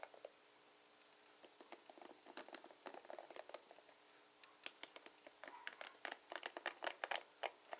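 A dark plastic paddle hairbrush with plastic pin bristles is held by its ribbed handle while fingertips and short nails brush, flick and scratch along the bristles. The result is an irregular pattering of quick, dry clicks and scratchy ticks, sparse and soft at first, then busier and louder in the second half.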